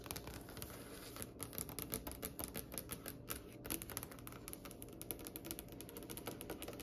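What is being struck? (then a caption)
Varnished solid wood tabletop. Long nails and fingertips of both hands tap rapidly on a glossy, varnished, solid dark wood tabletop. The result is a steady, quiet patter of short, dry clicks with bright nail ticks over a soft, low knock. Each tap dies away almost at once.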